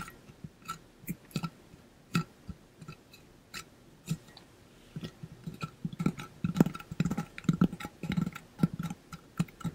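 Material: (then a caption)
Stainless steel. A pink-blue ombre coated stainless steel water bottle is held up while fingertips and nails tap quickly along its body. Short, dry taps with a low, hollow tone and faint bright clicks come sparse and uneven at first, then grow into dense, rapid tapping in the second half.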